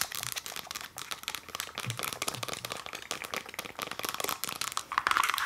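Fast, aggressive tapping on a Lush cosmetics container produces a dense stream of crisp, bright clicks with a crinkly texture. Each tap dies away almost instantly, and the tapping grows slightly louder toward the end.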